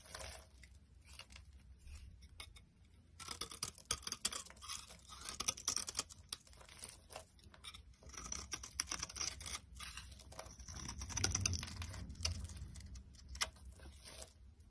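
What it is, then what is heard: Bar soap being shaved. A box cutter blade shaves thin flakes off a solid yellow bar of soap held in the palm. Quick, irregular bright scraping and crisp cutting strokes repeat throughout over a low background rumble, growing denser and louder in the second half.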